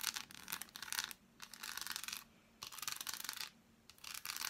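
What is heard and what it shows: An unwrapped, hand-sized solid dark chocolate bar is held in both hands and tapped and scratched with long black acrylic nails on its smooth back and molded squares. Bright, dry scratching and clicking come in four dense bursts separated by short near-silent gaps, with almost no low end and no ringing after each touch.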